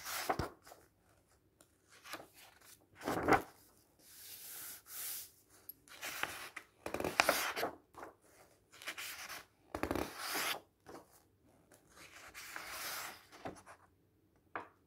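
Fingertips turn the pages of a thick illustrated bird guide book resting on a table, one page at a time. Each turn makes a soft papery rub followed by a brighter, crisp flip. Quiet pauses fall between the turns.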